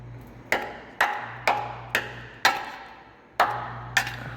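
A hammer strikes the steel frame of a diesel FJ Cruiser up on a hoist, at a section where these frames tend to rot out. Seven sharp metallic hits ring briefly around 830 Hz over a steady low hum, and the frame sounds solid, not rusted through.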